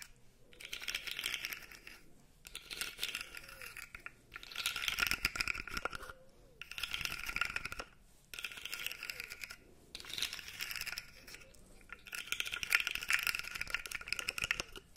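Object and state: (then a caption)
Plastic articulated toy. A blue segmented plastic fidget toy, held upright, has its segments scratched and clicked with long nails. Bursts of dense, bright clicking and scratching come in waves of about two seconds, separated by short pauses. The sound is sharp and high-pitched with almost no low end.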